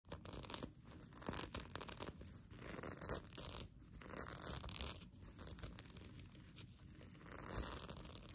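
Long nails scratch and crumple the reversible plastic sequins on the soft, flexible sequin fabric of a mermaid tail blanket. The result is a quiet, continuous scratchy crinkling rustle with a bright hiss, swelling and fading in uneven waves.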